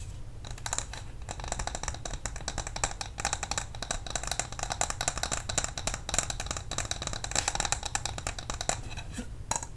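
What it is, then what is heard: Glass candle jar with metal lid. A medium glass jar candle filled with white wax, with a metal lid and a paper label, is held in both hands and tapped with long nails on the glass and the lid. Rapid, continuous light clicks and bright, high clinks overlap with almost no ring, over a steady low hum.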